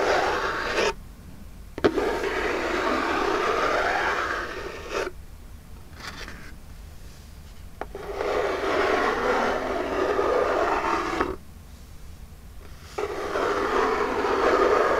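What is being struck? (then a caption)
Small cardboard box. Long jeweled nails scratch and tap the lid of a small, hollow, printed Birchbox cardboard box. Several-second bursts of dry, papery scratching alternate with quieter pauses, punctuated by a few sharp taps.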